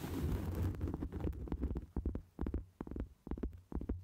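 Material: Cork.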